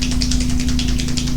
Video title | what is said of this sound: Layering Inside Resin Without Mistakes - Complete Coaster Method | shake it until you hear that ball rolling inside